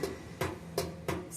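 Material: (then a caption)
Metal. A loose metal drum in a Samsung washing machine is shaken by hand and knocks around inside the machine, producing five short, dull knocks over a low hum. The drum is loose because its spider (tripod) support broke, which caused the noise during the spin cycle.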